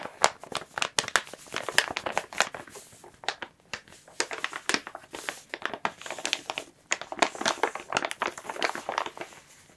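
Fingertips and long nails rub, scratch and squeeze a large, clear, soft plastic bag wrapped over a plush toy, while both hands grip and crinkle it. The result is a dense run of sharp, bright crinkles and crackles with no low end, with brief quieter pauses between the bursts of handling.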